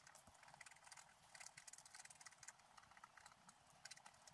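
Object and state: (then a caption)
Scratch art paper being scratched. A pointed wooden stylus scratches the black coating off a flat, book-sized sheet of scratch art paper with a colored layer underneath, lying on a table while a hand holds the sheet. The result is a rapid, continuous run of short, dry scratching strokes, bright and hissy with almost no low end, each stroke stopping dead with no ring.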